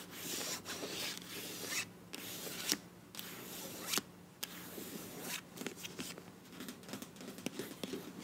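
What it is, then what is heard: Plastic squeeze tube. Long nails scratch and rub the printed body of a filled beige plastic face wash tube with a bronze cap. Bright, dry rasping comes in bursts, broken by short silent gaps and a few sharp clicks, with a faint steady low hum underneath.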